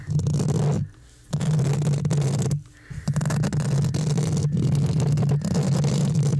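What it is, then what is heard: Metal mesh microphone grille being scratched. Fingertips and short nails scratch the hollow, rounded metal mesh grille of a large condenser microphone, making a dense, low rumbling scrape with a steady hum around 137 Hz. The scratching stops briefly twice, near 1 second and 2.7 seconds, then continues steadily to the end.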